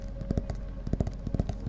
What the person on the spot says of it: It's got a unique cover, so it sounds a little different.